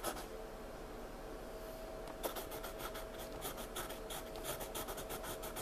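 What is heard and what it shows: A hand draws with a wooden pencil on a flat paper sketchbook page, scratching lines and shading. A soft, continuous graphite rasp fills the first two seconds, then gives way to quicker, brighter scratchy strokes over a faint steady hum.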